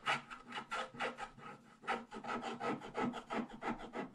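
A wooden stylus scratches continuously over the lower right area of a flat black-coated scratch-art page, revealing purple foil underneath. It makes a quick series of short, dry, raspy scraping strokes with a bright papery hiss, rising and falling with each pass.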